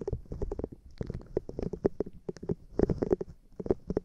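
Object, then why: Silicone scrubber pad with bristles. Long painted nails scratch and tap across a small, flat, light-blue silicone cleansing pad with bristles, held in one hand; the pad is solid, flexible and rubbery. A rapid, uneven run of short, dry taps and scrapes is heard, each with a muted low-mid body around 380 Hz and low thumps beneath. There is almost no ring after each tap.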